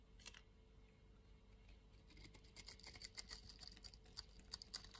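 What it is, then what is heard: Soap bar scraped with a blade. A fresh, solid green-and-white striped soap bar held in the palm is scraped with a utility knife blade, raising green shavings. Faint, soft scraping in the first two seconds gives way to a quick, irregular run of short, crisp, bright scratches and ticks, each dying away almost instantly over a low, quiet background.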